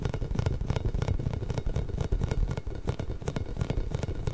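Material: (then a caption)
Rubber. A large pink inflated hollow rubber massage ball with small spikes is rubbed and tapped with fingertips and nails close to a microphone, then moved to the side of it. Quick, dense scratching and tapping keep the sound low and thumpy, with short bright flicks over a steady rumbling texture.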